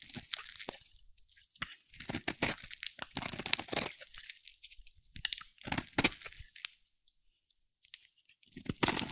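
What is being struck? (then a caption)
Bar of soap scraped with a metal blade. A metal blade scrapes and carves strips off a solid green bar of dry soap held in the hand. Bright, crisp crunching and crackling come in quick bursts of scraping, separated by short quiet pauses, with almost no low end.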